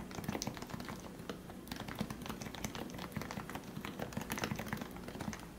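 Fingertips type steadily on the keycaps of a lubricated plastic Leopold FC660C Topre keyboard with 45g switches. A rapid run of soft, muted keystrokes carries a low, rounded thock, each with a short, dry tap that stops almost at once.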